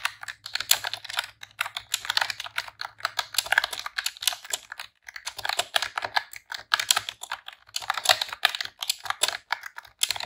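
Long press-on nails and fingertips type rapid key presses on a pink retro-style plastic computer keyboard with round keycaps. Dense bursts of bright, short plastic clicks and clacks run throughout, with almost no low end and a brief slowdown near the middle.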